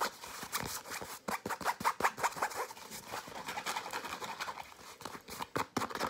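A padded, hand-sized grey and blue nylon fabric pencil case with a zipper is tapped and scratched with short nails in a fast, aggressive, irregular rhythm. Dry, crisp taps mix with bright, rustling scratches, with almost no low end and no ringing after each hit.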